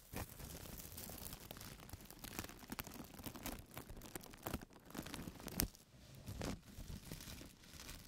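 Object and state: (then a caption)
Plastic carrier bag. Fingertips scratch and rub a thin white printed plastic carrier bag lying flat on a table, making a steady dry rustling and scratching with brief louder crackles. Near the end the bag's edge is lifted and crinkled, giving sharper crinkling bursts before the sound fades.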